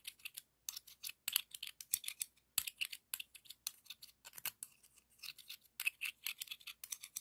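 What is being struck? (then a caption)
Scallop seashell rubbed with another thin shell. A thin seashell is scraped with the fingers along the ribs of a hollow, pink, ribbed scallop shell. The result is a quick run of dry, bright, rasping rubs with short silent gaps between strokes. The sound is almost all high-pitched with no low body.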